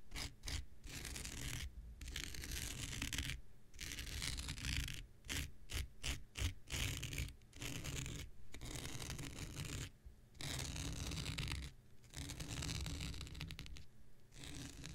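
An X-Acto knife blade scratches across a thin, hand-sized blue non-woven synthetic fiber scouring pad held in the hand. Bursts of dry, raspy scratching carry a bright, fibrous hiss over a low rumble, separated by brief pauses between strokes.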